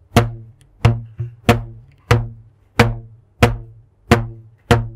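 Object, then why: Stretched rubber band. A thin purple elastic rubber band, stretched taut between the hands, is plucked with a fingertip in front of a microphone. Each pluck gives a short, low, twangy thump with a bright snap at the start and a quickly fading hum. The plucks repeat at an uneven pace, roughly one every second.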